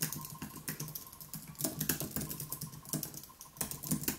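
Both hands type continuously with their fingertips on a wireless keyboard with white plastic keys set on an aluminium base. A steady, rapid stream of short, bright key clicks over soft low thumps, each stroke dying away almost at once.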